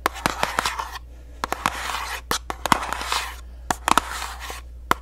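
Long nails tap and scratch a small, hollow orange paperboard box. Sharp, dry taps with a hollow tone near 1 kHz alternate with brief, hissy bursts of scratching across the surface.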